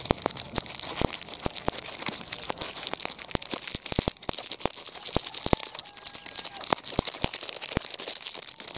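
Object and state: Metallized plastic wrapper.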